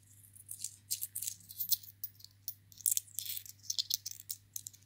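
Two small silver-colored metal coins held in a cupped hand are rattled and clinked together between the fingers. The result is a quiet, irregular series of short, bright metallic clicks and jingles with almost no ring, over a faint low hum.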